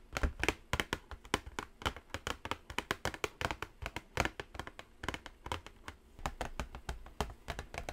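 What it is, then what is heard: Cardboard palette box. Long nails tap and scratch the top and edge of a white, flat cardboard Morphe eyeshadow palette box. The result is a steady run of quick, dry, crisp taps with very short decay, with light scratchy texture between them, each tap bright with a hollow low thump beneath.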